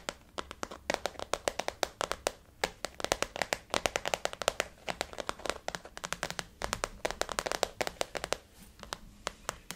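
Fingernails of both hands tap rapidly on a blue floral-print glossy faux leather zip-around wallet resting on a table. Dozens of crisp, dry clicks with a slight hollow tone around 570 Hz and bright edges form a quick, uneven rhythm throughout. Each tap dies away almost instantly.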